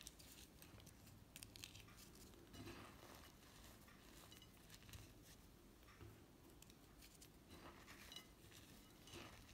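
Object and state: Crushed gym chalk.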